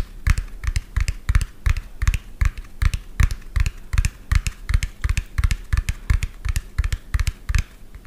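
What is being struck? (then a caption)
Plastic toy dump truck. A medium lime-green hollow plastic toy dump truck with an empty tipper bed is tapped quickly with fingernails. The result is a fast, uneven run of short, dry taps, each pairing a hollow low thump with a bright click that dies away almost instantly.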